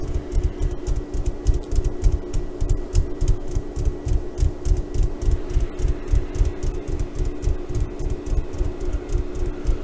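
Long painted nails and fingertips scratch and rub a small burlap "KONA" sack tied onto a soft, filled bean bag stuffed donkey toy. The result is a rapid, uneven stream of dry, low, thumpy scratches, about three to four per second, over a steady low hum. Faint bright flicks of texture sit above.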